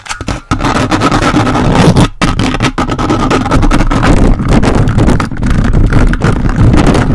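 The plastic fingers of a toy robot grabber hand grasp and scratch a large hollow metal mesh microphone grille. The result is a loud, dense, continuous scraping rumble, heavy in the low end, with a faint steady tone above it and brief dropouts near the start and around two seconds.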